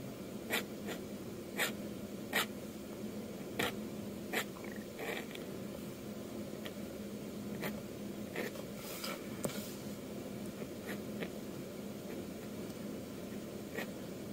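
A metal dip-pen nib scratches across a flat sheet of white manga manuscript paper with a pencil sketch, making rough inking strokes. About nine sharp, bright scratches stand out over a steady, soft papery hiss, spaced irregularly through the clip.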